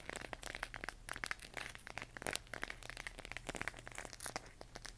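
Long nails tap and scratch across the textured surface of a hollow plastic LED moon lamp glowing cyan, held in both hands. A rapid, uneven run of short, dry, bright clicks and crinkly scratches sits over a faint steady low hum, each tap dying away instantly with no ring.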